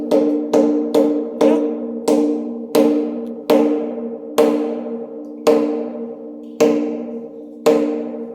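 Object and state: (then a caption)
Cave rock formation that rings like a bell. Inside a cave, a stone rock formation is struck over and over, giving a loud, bell-like ringing tone with steady low-mid pitches. Eleven distinct strikes come at an uneven pace, each with a sharp bright attack that decays into a sustained ring.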